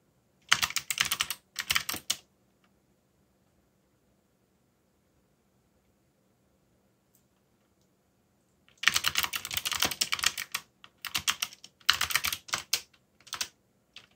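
Fingertips type on a backlit mechanical keyboard with dark plastic keycaps, giving rapid, bright clicky keystrokes in two short bursts. After a long quiet pause, a longer stretch of typing comes in several quick runs.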